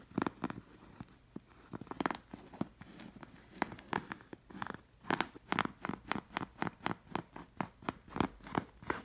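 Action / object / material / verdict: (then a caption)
scrape / appliqué linen fabric cushion / linen / none. A long fingernail scratches and traces along the stitched fabric patches of a camel appliqué linen cushion. It makes a quick series of short, dry, bright scratching strokes with a soft rasp between them, growing denser and louder toward the end.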